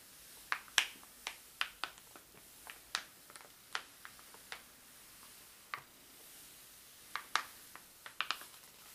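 Fingertips and a palm rub and slide across the coated paper pages of a large open atlas, laid flat on its Time Zone Map / Legend spread. Quiet, soft paper hiss is broken by a series of sharp, bright crinkly ticks and snaps that die away almost at once.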